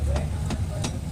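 A BMW's front wheel is lifted in the air and its tire is shaken by hand, drawing a loud knocking from the power steering rack, blamed on a worn rack damper. Four sharp knocks stand out over a steady low rumble, each with a short bright edge. The loose steering rack play is a fault, and the damper is to be replaced with a kit.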